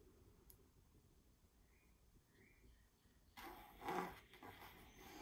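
A long fingernail taps and scratches the smooth printed surface of a small stretched canvas reading "But First Coffee," hanging on a wall on a hollow frame. After about three seconds of quiet low hum, a bright, dry scratching starts, swells into a louder rasping tap with a hollow body, then continues in softer scrapes.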